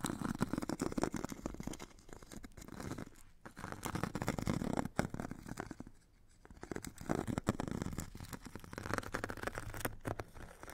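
A metal stick scratches and rubs along the purple abrasive grit layer of a solid hand-held foam foot file with a white foam core. Dense, rough scratching and rasping strokes run almost continuously, with brief quieter gaps around 3.4 and 6.2 seconds.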